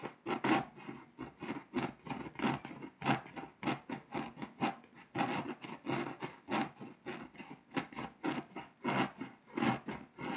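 A scraper tip scratches the foil coating off Hungary on a flat, foil-coated paper scratch-off map, leaving flakes behind. Quick, uneven back-and-forth strokes make a dry, raspy scratching that reaches up into bright hiss, with little low end.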